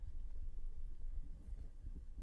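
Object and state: Nothing is struck.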